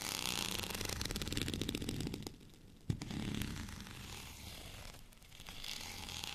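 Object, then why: Textured plastic rolling pin. A white, bumpy plastic rolling pin is held in one hand and scratched with the fingernails of the other, producing a dense, rapid, crackly scratching across the bumps. The scratching fades to a quiet pause, broken by a single sharp tap, then resumes more softly and builds back up toward the end.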